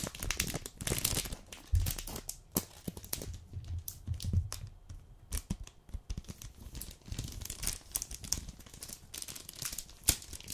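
A full, flat, rectangular red dark chocolate bar package in a plastic-paper wrapper is rubbed, crinkled and scratched with fingertips and long nails. Dense, bright crackling and crinkling fills the clip, mixed with sharp scratchy ticks and soft low thumps as the package is handled.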